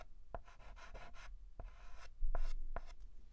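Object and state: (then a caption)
Chalk writing on a chalkboard. A white chalk stick held in the fingers writes and scratches short strokes on a flat black chalkboard. Bright, scratchy bursts of chalk dragging across the surface mix with sharp taps as the chalk strikes the board.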